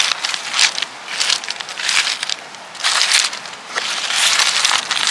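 Fingertips and nails tap and rub across a pile of smooth, solid, rounded river stones of mixed colors outdoors, making them clack and shift. Bright, crackly clatter comes in repeated bursts with almost no low end, each tick dying away quickly.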